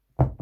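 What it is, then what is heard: Heavy spotting scope end cap. A stock spotting scope end cap weighing about 89 grams is dropped on the ground. It makes a dull, low knock and then a softer second bounce. The heavy thud shows the cap is unnecessarily heavy for what it is, which motivated a lighter carbon fiber prototype.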